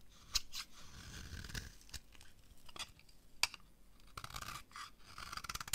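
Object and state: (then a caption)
Dry bar soap being carved. A small utility blade shaves and carves thin strips off the edge of a dry, palm-sized rectangular bar of green soap held in the hand, while the shavings fall onto a pile below. Quiet, crisp scraping and cutting strokes are heard, with bright, papery edges and sharp little snaps between softer rasping passes.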